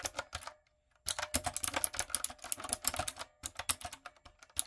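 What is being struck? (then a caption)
Plastic mechanical keyboard. Fingertips and long acrylic nails type rapidly on a light-up, typewriter-style plastic mechanical keyboard with round plastic keycaps. Dense, bright, short clicks come in quick bursts, with a brief silence near the start and a short pause later on.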